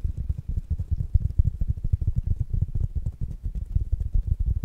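A small black dome-shaped smart speaker with mesh fabric over a solid, hard plastic body is held in one hand and tapped with the fingertips and nails of the other. The taps come as a fast, steady stream of dull, low thuds centered deep in the bass, each dying out instantly with no ring.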